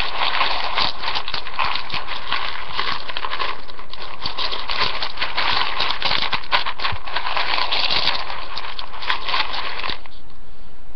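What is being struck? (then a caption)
Uncooked spiral pasta in a ceramic bowl. Fingertips with painted nails dig and rummage through a large ceramic bowl full of dry, uncooked spiral rotini pasta. The pieces rustle, click and crunch together in a steady, dense stream of crinkly patter. It thins abruptly near the end to a quieter hiss.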